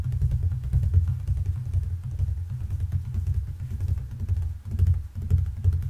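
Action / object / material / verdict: tap / fiberboard picture frame backing / fiberboard / none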